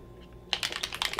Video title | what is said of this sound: La Roche Posay Anthelios Shaka Fluid SPF50+ Sunscreen Review and How to Use | shake it up sounds like spray paint but it's not